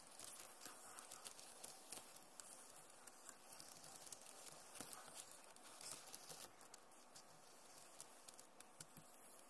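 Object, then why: Plastic laptop keyboard keys. Long nails tap quickly across the keys of a backlit plastic laptop keyboard. The result is a quiet, steady stream of light, bright clicking and pattering with small irregular peaks.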